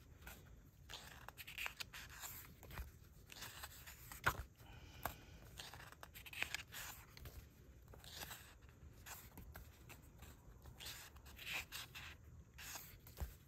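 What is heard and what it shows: Fingertips and a palm rub and slide across the printed paper pages of an open *Dungeons & Dragons Monsters & Creatures* softcover illustrated paperback, turning them one by one. The result is quiet, continuous soft brushing and rustling, broken by brighter, crisp paper swishes and occasional sharper flicks as pages turn.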